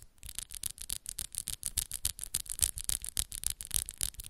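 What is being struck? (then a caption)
Acrylic nail tips. Long, solid coffin-shaped acrylic press-on nails have their tips tapped and scratched against the nails of the other hand. The result is a fast, uneven run of short, bright clicks and scrapes, each with a crisp high edge, a faint low thump and almost no ring.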